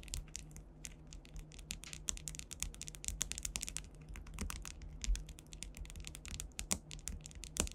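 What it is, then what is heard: Rhinestone-covered panel. Long white nail tips tap rapidly across a solid, flat panel densely covered with faceted clear rhinestones, likely acrylic, in a typing-like motion. Dozens of quick, bright, clicky ticks patter with almost no ring. A steady low hum sits underneath.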